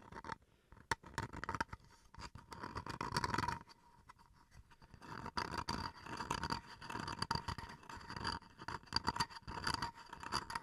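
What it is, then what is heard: Bamboo chopping board scratched. Fingernails scratch along the surface and edge of a small, rectangular, solid bamboo wood chopping board held upright in the hands. It produces a rapid series of dry, rasping scrapes and scratches in bursts, with bright, hissy texture and a faint steady tone near 900 Hz underneath.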